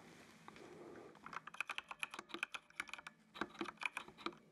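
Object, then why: Plastic mechanical keyboard. Fingertips type on the keys of a full-size black plastic mechanical computer keyboard with RGB backlight. After about a second of soft, quiet hiss, a run of around twenty sharp, bright, clacky keystrokes follows at an uneven pace, each dying away almost instantly.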